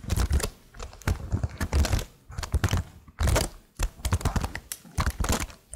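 Long blue-painted nails tap and type on the hollow plastic keycaps of a detached laptop-style keyboard with marble-pattern stickers on some keys, held close to the mic. Rapid clicky taps come in dense bursts separated by brief pauses, with a heavy low thump under each press and short, dry decays.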